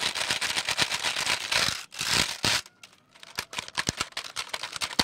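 Fingertips tap and press the plastic keys of a full-size black plastic computer keyboard with a hollow case, held in both hands. Rapid, bright, dry clicks run densely for the first two and a half seconds, pause briefly, then return as separate, irregular taps through the end.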